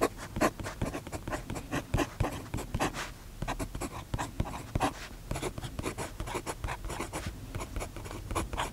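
A steel fountain pen nib scratches across the page of an open paper notebook on a desk, writing vertical lines of text while the other hand holds the page flat. The result is a quiet, dry stream of short, rapid scratching strokes, each a brief bright rasp over a soft low rustle, with almost no ring between them.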